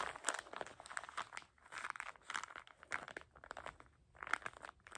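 A small soft packet of paper tissues in printed plastic wrap with a "dream BIG" label is squeezed and crinkled by fingertips, rubbing the plastic film. Quick, quiet crinkles and crackles come in bursts, bright in the upper mids with little low end, with brief lulls between squeezes.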